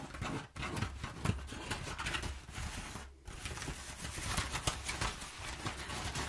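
Fingernails scratch and rub crumpled, perforated brown kraft paper packing padding, making a dense, continuous crinkling and scratching texture with sharp bright crackles. The rustle carries on steadily, with two brief near-silent gaps.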